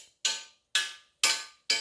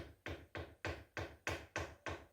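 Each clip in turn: First: loud clank of bare metal treestand struck by arrow. Second: padded treestand section, quiet.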